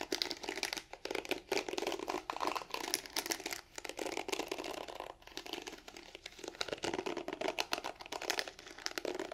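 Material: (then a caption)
Plastic. Long nails scratch the bristles of a pink plastic hairbrush held bristle side facing out. The result is a dense, bright, crackly scratching made of rapid tiny clicks that come in bursts with brief quieter gaps, with almost no low end.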